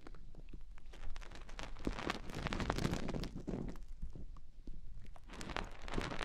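Long painted nails rub and scratch inside the ear openings on both sides of soft white silicone microphone ears. The result is a steady, close, muffled rustle weighted toward the low end, with dense crackly scratches and brief bright clicks throughout.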